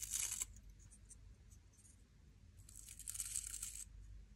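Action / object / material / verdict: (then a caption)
scrape / wooden scrub brush with stiff natural bristles / wood, bristle / none. Long polished nails scratch along the stiff natural bristles of a small solid wooden nail brush held in one hand. A bright, crisp scratching burst comes first, then quieter faint scratches, then a second longer burst of the same hissy rasp over a soft low rumble.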